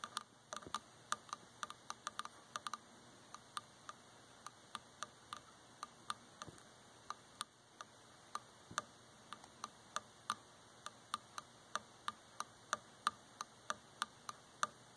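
A wooden object is tapped in quick, uneven succession, producing several dozen sharp, dry ticking clicks that stop almost instantly. The taps sit over a faint, steady background hiss.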